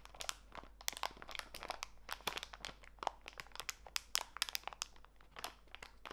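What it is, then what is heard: Plastic packet of walnuts. A small clear plastic bag full of walnut pieces is squeezed in both hands, giving a quiet run of sharp, bright crinkles from the plastic mixed with crunching from the nuts. The crackles come in quick, irregular bursts that stop almost instantly, with very little low end.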